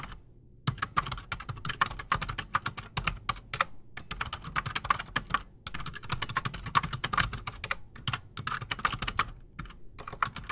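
Both hands type fast with their fingertips on a solid, full-size black Redragon Shrapnel K589 mechanical keyboard resting on a desk, fitted with Outemu Silent Sky silent switches and Razer PBT plastic keycaps. The bursts of quick, dense keystrokes have short, dry clacks with a bright top and a soft low thump underneath, broken by brief pauses.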